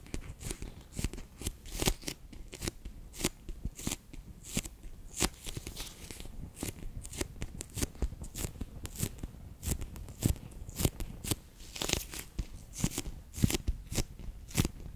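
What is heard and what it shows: A palm-sized, bear-shaped clear PVC pouch filled with orange water beads (Orbeez) is held in the hands and pressed and rubbed with fingertips and long painted nails, squishing the beads inside. The result is a steady run of short, dry crackling and squelching clicks with bright sharp edges over a low soft rumble, each snap dying away almost instantly.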